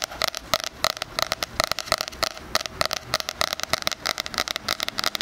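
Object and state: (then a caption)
Spiral-bound cardboard planner. Fingernails tap and scratch on the cardboard cover of a medium-sized 2020 spiral-bound hardcover weekly planner, printed with roses and bound with a metal spiral, held upright. A rapid, uneven series of dry, bright clicks and scratchy rasps is heard, with almost no low end. Each tap dies out instantly.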